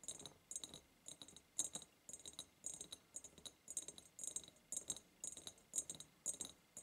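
Long purple nails tap quickly on both sides of a large, hollow, ribbed clear glass jar. The result is bursts of bright, clicky, rattling taps with a high glassy ring that dies away almost at once, repeating in an uneven rhythm.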